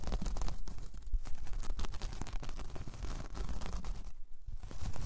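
Long painted nails scratch across a large, flat, solid round coaster of braided jute or straw, making a continuous dry rasping with many quick, short scrapes. The sound is dense and steady, weighted toward a low rumble, and briefly thins out just past four seconds before picking back up.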